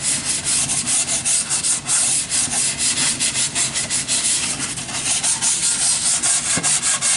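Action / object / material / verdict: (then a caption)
scrape / wooden board / wood / none. A long, solid, unfinished wooden board stands upright while sandpaper on a flat hand-held sanding block rubs along its face. The result is a steady, bright, raspy hiss made of back-and-forth strokes that swell and dip at a fairly quick, uneven pace, with almost no low end.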